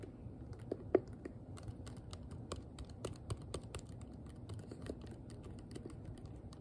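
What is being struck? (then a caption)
Plastic hairbrush back. Long nails tap quickly on the hollow, curved back of a hand-sized pink plastic detangling hairbrush. The result is a rapid, uneven stream of short, dry clicks with almost no ring, a few landing louder than the rest over a soft low hum.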